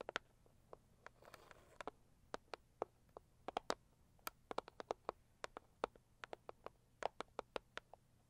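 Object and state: Cardboard gift box.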